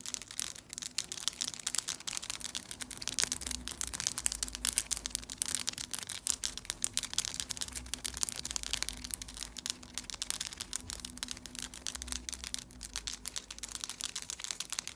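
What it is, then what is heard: Acrylic nails tapping. Long, pointed, solid acrylic press-on nails, painted and glittered, on both hands are tapped and clicked against each other in front of the chest. The result is a steady, dense stream of sharp, dry clicks that are mostly bright and high, each one very short, over a faint low hum.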